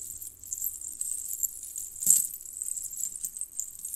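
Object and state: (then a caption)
Metal jingle bell necklace. Fingers with long painted nails lift and twist loose strands of a necklace of small, hollow, colored metal jingle bells on a red cord. The bells clink and jangle together in a soft, continuous, bright shimmer, with one sharper, louder clink near the middle.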